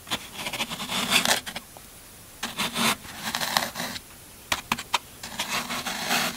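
A yellow-handled metal tool pokes and scrapes into the end face of a solid green floral foam brick. Bright, crunchy scratching comes in three bursts separated by quiet pauses, with a few sharp clicking pokes near the end.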